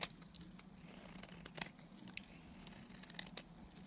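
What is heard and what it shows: A solid pink oval bar of dry Timotei soap with red inclusions, held in the hand, is shaved with a box cutter blade. Quiet, bright, crisp scraping and cutting sounds come in irregular crackly bursts and short sharp snaps over a faint steady low hum.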